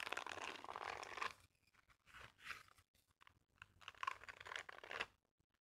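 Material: Silicone.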